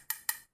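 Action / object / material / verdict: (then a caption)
knock / wireless microphone transmitter, plastic and metal housing / plastic / solid. Two sharp knocks on the body of a MAMEN WMIC Mate 2 (version 2) wireless microphone transmitter, whose housing seems to be plastic with a metal-like edge. Each knock is a bright, dry click with almost no ring, dominated by high frequencies and no low-end thump. The unit sounds solid rather than hollow, and it is heavy for its size.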